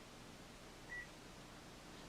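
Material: Nothing is struck.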